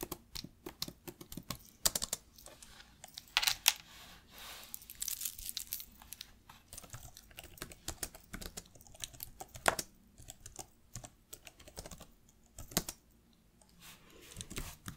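Fingertips and long nails tap the plastic keys of an open black laptop resting on a lap in steady typing. The quiet, bright, clicky taps stop short with no ring, and a few firmer clacks stand out along with brief soft rustling between them.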